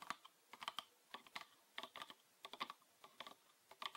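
Fingernails tap on a green PET bottle with a red cap, full of liquid, as it is held upright and then sideways. The taps are quick, dry, bright clicks in short uneven bursts, with no low end and almost no ring, much like fast typing.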